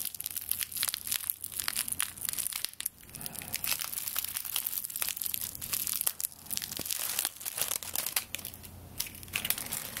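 A straw broom handle made of tied dry straw stalks is held close to the microphone while long nails scratch along the stalks and squeeze the bundle. The result is a dense, continuous crackling and crinkling rustle, bright and high with almost no low end, full of sharp, quick snaps. The texture swells and eases throughout.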